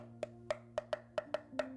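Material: Aluminum.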